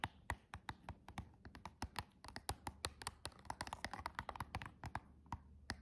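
Long decorated acrylic nails with rhinestones tap and scratch across the front and clear plastic window of a small, flat, hollow cardboard packaging box of press-on nails. About thirty quick, dry, bright clicks come in an uneven run, each dying almost at once. A faint, steady low hum sits underneath.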